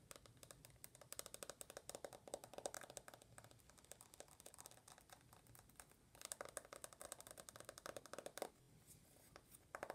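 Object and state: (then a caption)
Smartphone glass screen and aluminium back tapped with nails. Long nails tap and scratch quickly across the glass screen of an uncased rose-gold iPhone, then across its aluminum back. The sound is a dense run of short, dry, bright clicks with a ticking tone around 570 Hz and soft scratching between taps, fading briefly in places before the rapid tapping resumes.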